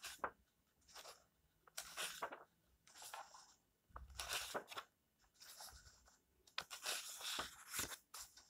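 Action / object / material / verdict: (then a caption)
scrape / paperback book pages / paper / none. Fingertips slide along the yellowed pages of an open paperback book lying on a table and turn them. Bright, crisp papery rustles and soft crunching come in short bursts separated by quiet pauses.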